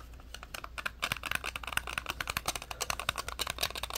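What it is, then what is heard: Plastic computer mouse. A small black hollow plastic wireless computer mouse is held in both hands while fingertips and thumbs click its buttons and tap and press its shell. A rapid, irregular run of short, dry, bright clicks and taps plays over a faint, steady low hum, with each click dying away almost at once.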